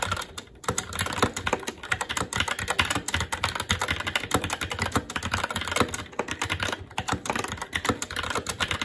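Fingertips of both hands type continuously on a SteelSeries Apex 7 TKL mechanical keyboard with Red switches, black plastic keycaps on a metal plate and a hollow RGB-backlit case, resting on a desk. After a brief pause near the start, a dense, steady stream of quick, bright plastic clacks follows, each keystroke short with a light hollow thud beneath.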